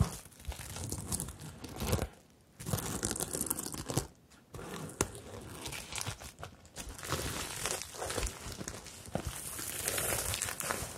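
A medium, hollow rainbow fabric bag covered in plastic sequins is rubbed and scratched with fingertips and long nails, then held. Dense crinkling, scratchy rustles fill the clip in irregular bursts, with brief quiet gaps around two and four seconds.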